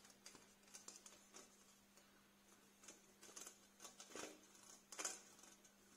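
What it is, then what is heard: Metal wire basket. Fingernails tap and scratch across the wires of a small, empty black metal wire storage basket held upside down close by. About fifteen light, irregular metallic ticks and scrapes come through, bright and quick to fade, over a faint steady low hum.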